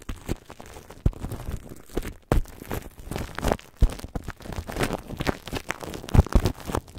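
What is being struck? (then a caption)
Plastic cling film stretched over a microphone grille. Clear plastic cling film is stretched over the metal grille of a red microphone, and long dark-painted nails and fingertips tap, rub and crinkle it. The result is a dense, irregular run of close, bass-heavy thumps and soft crinkling rustles with no ring after each touch.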